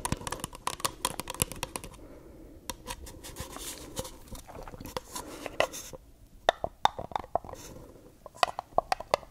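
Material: Paper.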